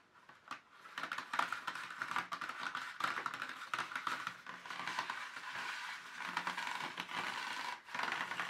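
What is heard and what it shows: Fingertips and nails tap and press along the ridges and flat base of an empty molded black plastic paint tube tray. The result is a quiet, steady run of dense, light clicks and hollow plastic taps with a crinkly patter, centered in the midrange around 1.2 kHz. There are brief pauses near the start and just before the end.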